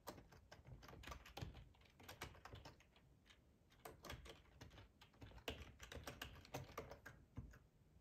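Fingertips tap away at a black plastic, hollow-bodied split ergonomic computer keyboard. The result is a quick, uneven run of dry key clicks with a soft low thump under each press. Busier bursts are split by a quieter lull around the middle.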